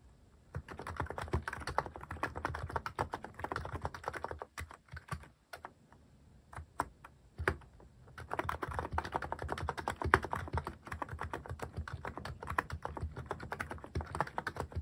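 Steady fingertip typing on a Hanmumu mechanical keyboard fitted with plastic cat keycaps produces rapid, short, dry key clacks with a thocky low body. The typing slows to a few scattered taps in the middle, then resumes at a quick, even pace to the end.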